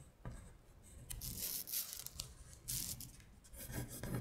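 Long pointed nails scratch across a flat paper worksheet listing the months in Korean. Quiet, dry rasping strokes come in a series of bright bursts, each fading quickly, with a soft low rumble underneath.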